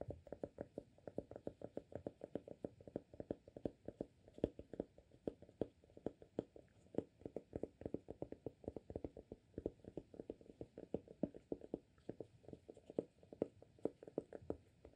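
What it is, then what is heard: Amber glass candle jar with cork lid. Fingertips tap rapidly on the cork lid of a small amber glass candle jar full of wax, producing a steady stream of quiet, soft, dull taps. Each tap is short and muted, with almost no ring and a low-mid tone.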